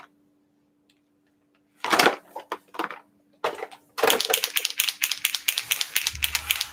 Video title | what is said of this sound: Virtual Studio Party on a sunny Saturday Oct 17 | here i am shaking it you can hear it